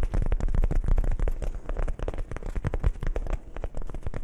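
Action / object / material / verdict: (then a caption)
scrape / soft fabric zippered pouch / fabric / none. A small, hollow, dark grey soft fabric zippered pouch is held in both hands close to the microphones and scratched and rubbed with fingertips and nails. The result is a dense, fast run of crackling scratches and soft, low, muffled thumps that never pause. The bassy rustling stays steady throughout, with little bright texture on top.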